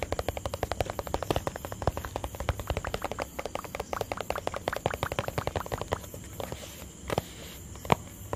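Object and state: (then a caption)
Plastic tub tapped with fingertips. A small, empty, hollow white plastic tub is tapped with fingertips on its sides and base. Rapid, steady runs of short, dry, hollow taps with a low-mid body and almost no ring fill the first six seconds, then thin out to a few scattered, sharper taps near the end.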